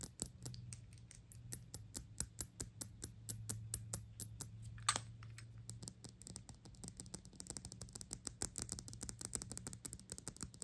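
A black glass Gucci perfume bottle is held in the hand while long acrylic nails tap rapidly on its sides. The result is a steady stream of short, dry, bright clicks with almost no ring, over a faint low hum. Around the middle, a brief scraping swipe breaks in before the tapping picks up again.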